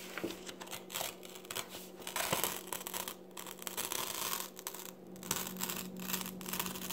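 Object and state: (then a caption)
Paper magazine. An open paper magazine lies on a table while its pages are grasped and turned with fingertips and long red nails. The result is bright, crinkly rustling and scratchy page sounds over a steady low hum.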